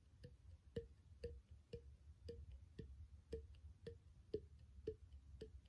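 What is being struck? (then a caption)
Small plastic bottle. Fingertips tap the body and threaded neck of a small, empty, hollow clear plastic bottle without its cap. A steady series of short, dry, hollow taps sounds at a fairly even pace. Each tap has a soft mid pitch and dies away almost at once.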